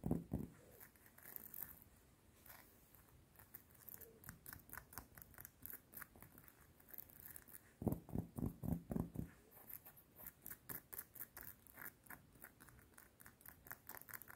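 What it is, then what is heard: Metal chain necklace. Long painted nails fast-tap and scratch the links of a small, worn, solid gold-tone metal link necklace, with a cardigan collar nearby. Quick, uneven bright clicks and scratchy rasps run throughout at a soft level, with louder, denser flurries at the start and around the eight-second mark.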